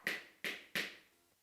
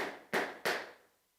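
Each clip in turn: First: plastic board marker. Second: wooden duster, wood sound.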